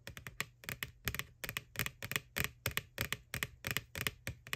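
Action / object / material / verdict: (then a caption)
tap / thin plastic bucket / plastic / none. Long nails tap the wall of a white, hollow plastic ghost-shaped Halloween bucket lying on its side. About 21 quick, bright, clicky taps come in uneven bursts, with a faint low hollow thump under each. Each tap dies away almost instantly.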